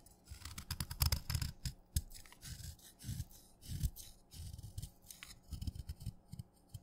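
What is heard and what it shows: A steel knife shaves flakes off a solid wet red chalk stick, and the flakes pile up on the blade. A series of short, uneven scraping strokes is heard, each with a soft, low thudding body and bright, crackly grit. There are brief quiet gaps between strokes.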